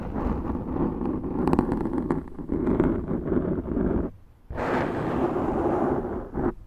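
Long acrylic nails on both hands scratch a large, round, soft and porous black foam windscreen on a Zoom microphone. The result is a dense, muffled, rumbling scratch with a warm low-mid body. It pauses briefly just after four seconds, then resumes as continuous rasping.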